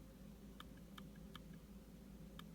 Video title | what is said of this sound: Trackpad Click On The 2016 MacBook Pro 15" w/ Touch Bar Sounds Hollow and Mushy | that actually sounds like a click